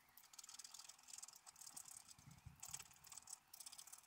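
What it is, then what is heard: Scratch-art paper card being scratched. A wooden stylus held in the fingers scratches lines into a thin, solid, black-coated scratch-art page from a book lying flat on a table. Quiet, dry, high-pitched scratching comes in a steady run of short strokes with brief pauses. Faint low thumps sit beneath the scraping.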